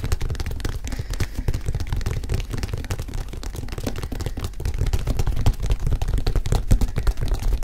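Fingertips tap and scratch the leather upper of a single hollow, empty white leather high-top Nike sneaker with a rubber sole, held in both hands. The result is a dense, irregular stream of soft, low thuds with very short decay, mixed with faint scratchy rustling that grows slightly louder toward the end.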